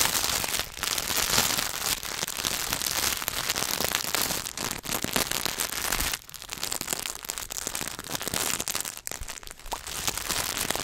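A solid Hershey's milk chocolate bar in its paper and foil wrapper is held in both hands while fingertips tap and scratch fast across the wrapper. The result is a dense, bright crackle and crinkle that runs throughout with little low end, easing briefly just after the midpoint before picking back up.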